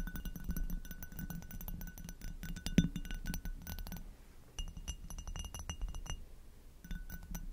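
Long acrylic nails tap the bowl and stem of an inverted, hollow, empty amber hobnail glass goblet. Rapid, light clinks with bright, very short rings play over a steady low hum, with one sharper tap near the three-second mark. The tapping briefly pauses around four seconds, then resumes in quick bursts.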